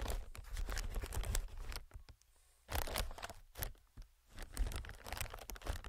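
Fingertips tap and scratch on a hollow, clear inflated plastic-film air packing pillow. Dense crinkly scratching with a deep low thump runs for about two seconds, then near silence, then more bursts of tapping and rustling with bright crackle over a heavy low rumble.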